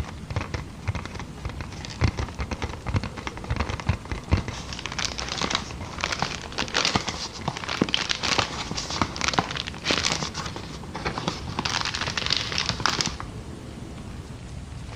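Clear, inflated, air-filled plastic air-column packaging is held up, tapped and scratched with long nails, then crinkled. The result is a dense run of quick, dry crackles and bright crinkling rustles over a soft low thump, easing to a quieter hiss near the end.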